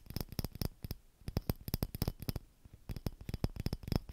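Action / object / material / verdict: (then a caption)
scrape / thin glass bauble ornament / glass / none. A small, hollow, clear glass Christmas bauble ornament with a metal cap and ribbon is scratched and tapped with fingernails. Quick bursts of dry, clicky taps and scratches come in clusters with brief pauses, each with a dull low body and a faint bright edge. Every tap dies away almost at once.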